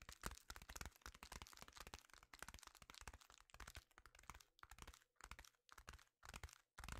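A sheet of reflective foil bubble insulation is held in both hands and tapped with fingertips, making quick, irregular, crinkly taps with a crackling, papery texture. The taps are dense at first and then break into short bursts separated by brief silences, with a dull low thump under bright, crisp clicks that stop almost instantly.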